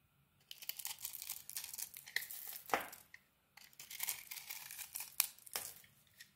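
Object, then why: Bar of soap scraped with a metal blade. A metal blade scrapes across a solid rectangular soap bar with a pink coating and a crumbly white interior, shaving off powdery flakes. The result is dry, crisp, bright crackling and tearing scrapes in two bursts separated by a brief silence, with a few sharper snaps standing out.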